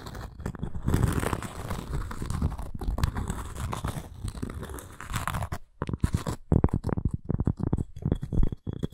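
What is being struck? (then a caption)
Cork and wood coaster. Long nails scratch the cork surface of a round, flat coaster with a thin wooden rim, held in both hands. A steady, dense, crackly scratching runs for about five seconds, then breaks into shorter, separate rasps and scrapes. The sound is close and dry, with weight in the low end and no ring after each stroke.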